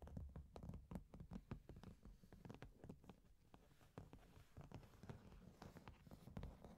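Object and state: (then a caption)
Cardboard shipping box. Long nails tap and scratch irregularly across the top of a medium, closed, hollow corrugated cardboard box, then hands hold the box. The result is a quiet series of soft, dull, low-heavy knocks with short resonance, mixed with light scratching.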